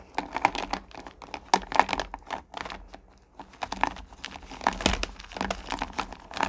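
Hands with long nails scoop handfuls of small, solid pumpkin candy corn from a purple plastic pail and let them drop back in. The result is a dense run of sharp, dry clattering and rattling as the candies tumble against each other and the plastic, with brief pauses between handfuls.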